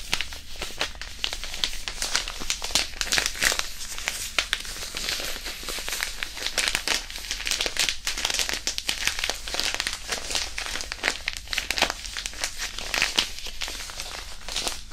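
A small white disposable hand warmer, a non-woven fabric pouch filled with iron powder, is squeezed and crinkled in the fingers beside the ears of a microphone. Dense, bright crinkling and gritty rustling run continuously for the whole clip, with many sharp crackles.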